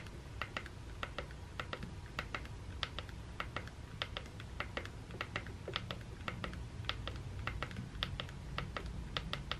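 The hollow plastic handle of a Sonicare electric toothbrush, held in the hand, is tapped repeatedly on its button with the thumb and nail. The result is a rapid, uneven series of dozens of short, bright, clicky taps over a steady low rumble.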